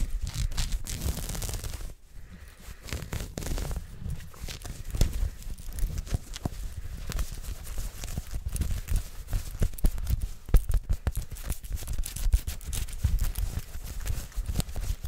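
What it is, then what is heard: Cotton sweatshirt fabric being scratched. A heather grey soft cotton fleece sweatshirt with a printed logo is held in front of the mic and scratched fast with long nails by hands wearing rings. Dense, rapid rubbing and scratching comes with heavy low thumps and crackly texture, easing briefly near the two-second mark before continuing steadily.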